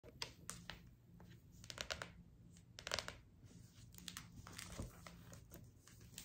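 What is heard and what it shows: Long acrylic nails tap and scratch across the glossy laminated cardboard front cover of a large, closed hardcover cookbook lying flat on a table. Quick, bright clicks and dry scraping swishes come in uneven bursts over a faint low hum, each tap dying away almost instantly.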